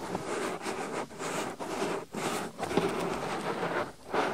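Fingertips quickly rub and pinch the top and rim of a soft white silicone ear on a binaural microphone. This produces a dense, crackly, broadband rustling and scratching with a mid-range body. The sound comes in bursts broken by short, quieter gaps.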